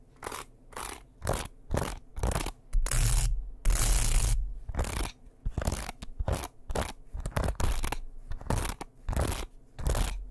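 Fingers scrape back and forth across the bristles of a light, solid wooden hairbrush held by the handle close to the mic, with taps on the wooden body. Repeated short, crunchy scratching bursts with a bright hiss alternate with two longer continuous scrapes in the middle, all over a heavy low-end rumble.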